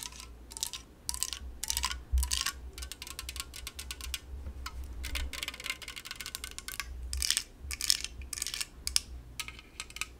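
Long yellow nails tap rapidly on the top and sides of a La Croix aluminum drink can, producing a stream of bright, sharp clicks with faint high metallic pings. Each tap dies away almost instantly over a steady low hum.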